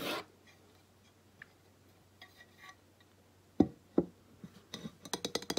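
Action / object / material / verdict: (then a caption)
tap / glazed ceramic plaque / ceramic / none. Long nails tap and scratch the glazed face of a flat painted ceramic plaque, about 20 cm and reading "Welcome to the Mountains!", held upright. Faint scratchy brushes come first, then two sharp, dry taps with almost no ring, and finally a quickening run of bright clicking taps.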